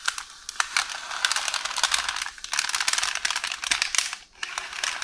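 Long orange nails scratch and tap a beige roll of parchment baking paper, with an unrolled sheet behind it. The result is a steady, bright, crinkly rustle dotted with many quick, sharp ticks, and it briefly drops away near the end before resuming.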